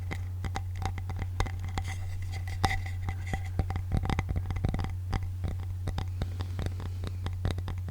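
A wooden wrist pad from work is tapped in a steady run of many quick, short knocks with a dry woody click. A constant low hum sits underneath throughout.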